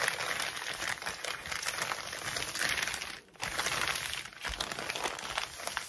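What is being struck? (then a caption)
Plastic mailing bag. A crinkled white plastic mailing bag lying flat on a table is scratched, rubbed and tapped with fingertips and nails. The sound is a steady, bright crinkling and scratching, with a brief near-silent pause just after the midpoint before the rustling resumes.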